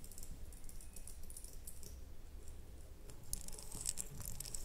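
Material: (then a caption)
Glass. Long nails on both hands tap a small red ribbed glass candle jar, filled with wax and closed with a lid. The result is a steady stream of quiet, rapid, bright clicking ticks that die out almost instantly, over a soft low rumble.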